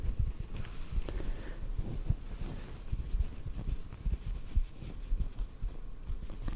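A small white cotton piece held close to the microphone is gently tapped with fingertips. It makes a steady run of soft, muffled low thumps and rustles with almost no bright content, each tap dying away at once.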